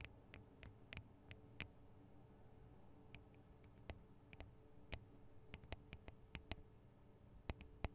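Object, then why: Metal microphone capsules on a handheld recorder. Long acrylic nails tap the small hollow metal microphone capsules with metal guard wings on a Tascam DR-40 recorder. About twenty short, sharp clicks ring out with bright, crisp tips over a quiet, steady low hum, each dying away almost instantly.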